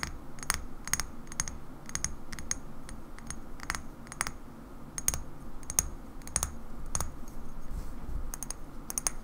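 Long nails tap along the side of a small, hollow cobalt-blue glass bottle with a black cap and a label as it is held and tilted. The result is a steady run of sharp, bright clicks with a faint glassy ping and almost no ring, spaced irregularly over a low, soft rumble.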